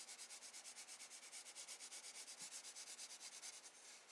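A wooden graphite pencil held in the hand makes light, sweeping scratch strokes on a spiral sketchbook page of drawing paper, shading the light beams beside a lighthouse drawing. The result is a quiet, bright, hissy scratching in a quick, steady back-and-forth rhythm, with almost no low end.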